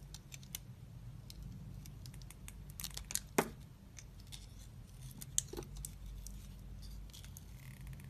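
A utility knife blade scrapes and slices thin layers off a hand-held solid white soap bar that still has some of its pink glitter coating. Soft, crisp scraping and crinkly slicing strokes come at an uneven pace over a steady low hum, with a couple of sharper bright clicks partway through. Each stroke stops short with almost no ring.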